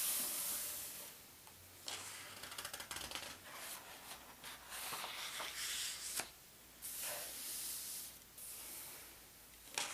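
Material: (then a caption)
Paper. Fingers turn one of the thin paper index pages of a large open atlas, then a palm rubs the page flat. The sound is a bright, papery rustle and hiss that comes in uneven bursts of crinkling and smooth rubbing, with a sharp snap at the end.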